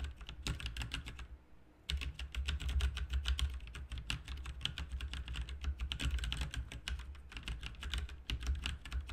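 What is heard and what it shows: Both hands type with fingertips on a backlit RGB mechanical keyboard with plastic keycaps, making a fast, steady stream of short, bright clicks over a deep low thock. The typing breaks briefly near the start, then resumes and runs dense and even to the end.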